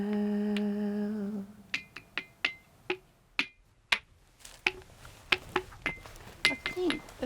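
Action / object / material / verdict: strike / bluestone rock struck with a stone / dolerite stone / ringing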